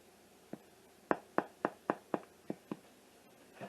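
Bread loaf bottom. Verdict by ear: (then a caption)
Done. A small, golden-brown Spanish bread loaf, baked 23 minutes in the oven, is turned over and tapped on its bottom about nine times in quick, uneven succession. Each tap is a short, dry, hollow knock with almost no ring. The hard, hollow sound shows the loaf is baked through.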